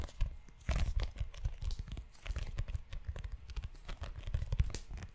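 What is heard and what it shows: Fingertips and short nails scratch and tap the cover of a book-sized tan leather notebook held in one hand close to the mic. A dense run of soft, dull taps and scratchy, crinkling rubs fills the clip, with a heavy low thump in each tap and brief bright scraping flecks.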